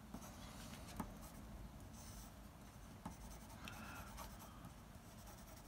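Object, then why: Graphite pencil on paper sheet. The graphite tip of a blue mechanical pencil, held in the fingers, scratches across a large flat sheet of white drawing paper while hatching and drawing lines on a comic panel sketch. A soft, steady scratching runs throughout, broken by a few brief, slightly louder ticks of the lead, over a low background rumble.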